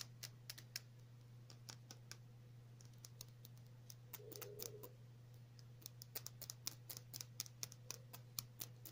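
Long natural nails tap a small clear glass nail polish bottle with a black cap, filled with clear polish. The result is a quiet run of rapid, irregular, sharp bright clicks that die away almost instantly, over a steady low hum, with a brief soft scratchy rustle midway.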